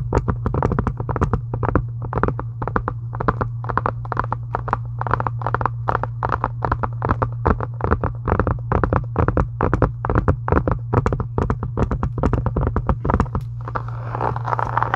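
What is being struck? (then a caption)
Faux leather book cover. A solid, pink embossed faux-leather book cover is tapped quickly and steadily with long acrylic nails, giving a long run of short, dry clicks that die away almost instantly. A steady low hum sits underneath throughout, and a soft, brighter rustle rises in the last second.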